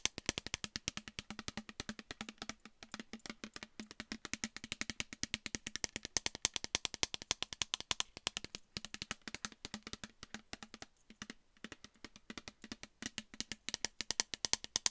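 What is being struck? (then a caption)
Clear plastic bottle of liquid. Long nails rapidly tap a clear plastic micellar water bottle, mostly full with a pink cap, close to the mic. The result is a quick, steady stream of short, dry, bright clicks that stop instantly with almost no ring.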